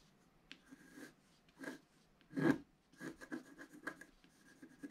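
A wooden stylus scratches fine lines into the coating of a flat black-coated scratch art card lying on a table, while the other hand holds the card steady. Soft, dry, rasping strokes come in short separate bursts with quiet pauses between them, and the sound sits mostly in the low-mid range with a faint brighter edge.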